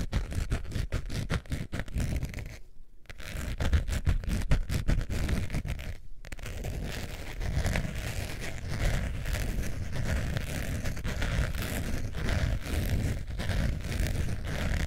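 Long nails scratch along the surface and edge of a long beige faux leather wallet with a metal zipper, held up. The result is a dense, continuous scratching and scraping texture weighted toward low frequencies, with brief pauses near 3 and 6 seconds.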